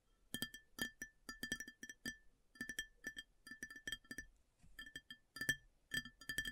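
Long nails tap rapidly on a round white ceramic plate placed upside down, hollow underneath, in quick irregular bursts with brief pauses between. Each tap gives a bright, clinking click with a short ring near 1.8 kHz and little low end, and it dies away almost at once.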